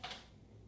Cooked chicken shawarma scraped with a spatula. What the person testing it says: you can hear how crispy it is